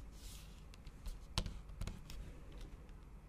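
Long acrylic nail tips tap repeatedly on a MacBook keyboard covered by a thin pink patterned plastic/silicone cover over solid keys. Several soft, quiet, irregular clicks with a dull low thud and brief bright ticks rise over a faint background hiss.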